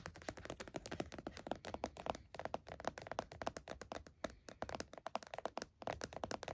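A closed laptop in a purple plastic snap-on hard-shell case with stickers lies flat on a towel while both hands tap the lid with fingertips and nails. A rapid, continuous stream of short, dry plastic taps and clicks is heard, with a hollow tone around 670 Hz. Each tap dies away almost instantly, leaving no ring.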